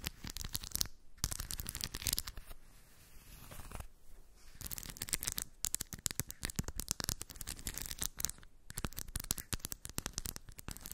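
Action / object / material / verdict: scrape / small steel balls in a cork dish / steel / none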